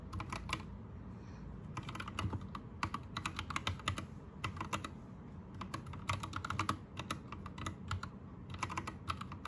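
Both hands type with their fingertips on an Anne Pro 2 60% mechanical keyboard with plastic keycaps and a teal backlight. Bursts of quick, clacky keystrokes come with brief pauses between them. A steady low hum sits underneath.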